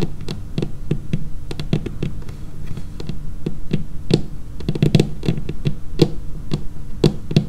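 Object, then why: Laminated wooden tabletop. Long painted fingernail tips tap the edge of a dark laminated wooden tabletop in a quick, irregular rhythm. Each tap is a short, dry knock centered low, with a bright clicky edge that dies away almost at once. Faint low background noise sits beneath the taps.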